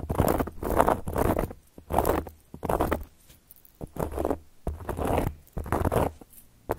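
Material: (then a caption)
Cork. Long gold metal claw nail caps scratch across a round, flat, solid cork board in a series of rough, raspy strokes. Each stroke is a dry mid-range scrape with a low thudding undertone, separated by brief quiet pauses.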